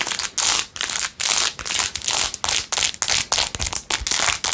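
Long acrylic nails scratch fast across a blue-jeweled, rhinestone-covered plastic phone case. The sound comes in quick bursts of bright, hissy, crackling scratches with short gaps between strokes and almost no low end.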